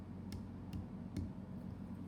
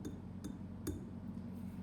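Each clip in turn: First: Three soft taps give brief dull thuds with no ring, typical of unfired greenware clay. Second: Three light taps give faint, high, glassy tings over a low room hum: clay that has been fired.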